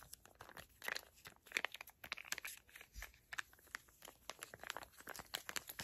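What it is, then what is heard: Plastic-laminate sachet crinkled and tapped. A small, flat, teal Moroccanoil sample packet made of crinkly plastic/foil laminate is crinkled and tapped with long acrylic nails. Dense, irregular, bright crackling and sharp little clicks come in quick bursts, with almost no low end. Each click dies away almost instantly.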